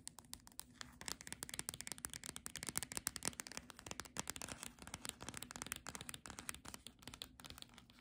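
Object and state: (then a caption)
Paperback book with glossy cover. Long nails rapidly tap and scratch the glossy cover and edge of a solid paperback Monet picnic book. The result is a dense run of short, dry, bright clicks and scratchy rasps with almost no ring, over a faint low hum.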